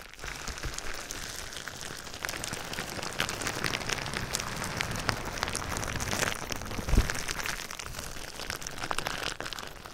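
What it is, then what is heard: Plastic bubble wrap. Clear plastic bubble wrap laid over a binaural microphone is scratched and tapped with fingertips and nails, making a steady, dense crinkling and crackling patter like rain on a surface. Bright, sharp ticks ride over a low, close-up rumble, with a brief louder thump around the seven-second mark.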